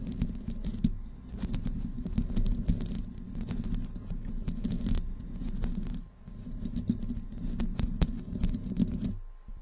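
Long nails of both hands slowly scratch the top of the hollow metal mesh grille on a black desktop microphone. The result is a dense, low, rumbling scrape, dotted with brief bright clicks and ticks. The scraping eases briefly around the middle before resuming and fading out at the end.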